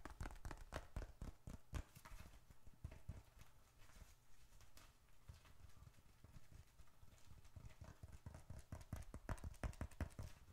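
A small, closed dark red leather bifold wallet, hollow with bills and receipts inside, is held in both hands and tapped quickly with the fingertips. It produces a rapid, uneven run of soft, dull, low thumps with short clicky edges and almost no ring. The tapping is busiest at the start and end and eases off in the middle.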